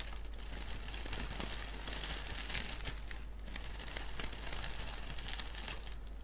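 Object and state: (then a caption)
Artificial fabric flower bouquet being crinkled. Hands with painted nails grip, crinkle and rustle the petals and leaves of a medium-sized artificial fabric bouquet of pink-and-white flowers with green leaves. The result is a steady, dense crackling and rustling with bright, papery highs, running over a constant low hum.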